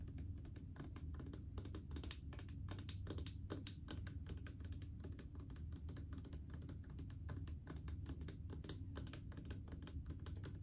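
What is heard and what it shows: Long painted fingernails tap rapidly on a large blue plastic mouthwash bottle full of liquid. The taps come as a fast, continuous run of short, crisp clicks with bright edges and almost no ring, over a steady low rumble, at an even level throughout.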